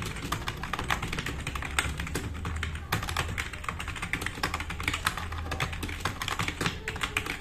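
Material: Plastic.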